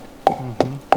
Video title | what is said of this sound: BIGFOOT Hunting GROUNDS: The SCARIEST Place In MINNESOTA - CAUGHT ON CAMERA - Sasquatch Documentary | sounds very acoustical so that's where I would hit